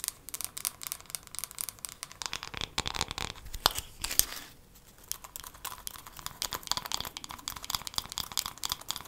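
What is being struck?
Wooden hairbrush.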